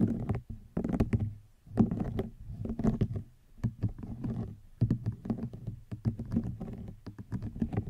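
A hollow woven rattan wicker basket is scratched with long nails, giving dense, dry scraping and rasping with many quick, short taps. The sound is mostly low and woody, with brief bright edges on the sharper strokes.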